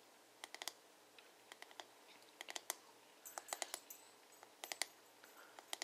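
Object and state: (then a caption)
Plastic hairbrush back tapped with fingertips and nails. Fingertips and nails tap rapidly on the smooth, hollow plastic back of a paddle hairbrush. Short, bright clicks come in irregular bursts and pauses over a faint, steady low hum. Each tap is crisp and dry, dying away almost instantly.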